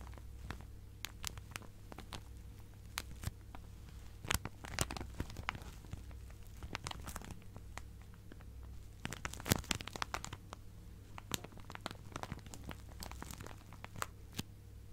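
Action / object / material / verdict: scrape / plastic zip-lock bag filled with fabric scraps / plastic / none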